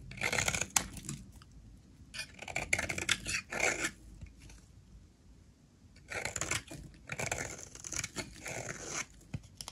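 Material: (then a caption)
Soap. A utility knife blade scrapes across the face of a solid blue oval bar of soap held in the hand, peeling off shavings. Bright, dry scraping and crackling strokes come in bursts, with a quieter pause in the middle before the strokes resume.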